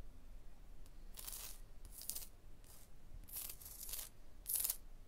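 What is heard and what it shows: Long blue nails tap and scratch on a porous, solid limestone block wall, making sparse, quiet bursts of bright, dry scraping. Each stroke fades quickly over a faint low rumble.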